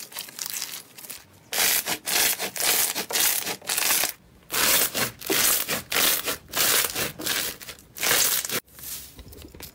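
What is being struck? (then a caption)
Slime with foam beads. A large mound of purple two-tone slime with rice-grain foam beads, on a wooden-look surface, is pressed, kneaded and pulled apart by both hands with the fingertips. It gives loud, bright, crunchy crackling in irregular bursts separated by brief pauses, with softer crackles at the start and end.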